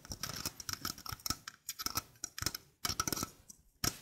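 Long painted fingernails tap and scratch the mesh basket and rim of a small, hollow stainless steel sink strainer held in the hand. A quick, uneven run of light, dry clicks and scrapes follows, with a thin, bright metallic ring that dies away almost at once. Brief silences separate the clusters.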